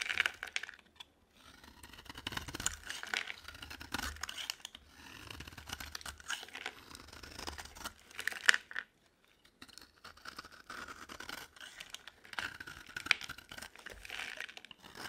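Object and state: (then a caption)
Bar of dry soap being shaved. A solid oval bar of dry green soap is held in the hand and scraped with a utility knife blade, shaving it into curls that pile up as flakes on the table. Soft, bright scraping and crinkly shaving strokes repeat throughout, with brief pauses between passes and a quiet close sound.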